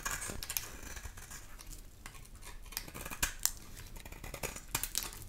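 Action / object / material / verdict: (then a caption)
scrape / bar of soap / soap / none. A palm-sized, solid bar of dry pink soap is held in the hand and scraped with a black metal grater or blade tool, peeling shavings off onto a pile of soap flakes. Dry, bright rasping strokes repeat throughout, with a few sharper, louder scrapes standing out.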